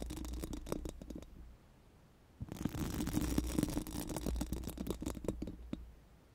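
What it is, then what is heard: Metal microphone grille scratched with silicone brushes. Pink silicone mascara wands scratch over a round, hollow metal mesh microphone grille, making rapid, uneven rasping strokes over a low, steady rumble and a faint tone around 300 Hz. A first run of scratching fades to near silence after about a second and a half, then resumes more densely and louder for several seconds before tapering off at the end.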